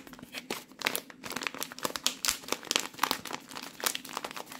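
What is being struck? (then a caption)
Plastic rice pouch. Hands squeeze and crinkle a full plastic rice pouch, making a dense run of sharp, bright crinkling and crackling bursts. The sound is quiet and thin, with almost no low end, and each crackle cuts off almost instantly.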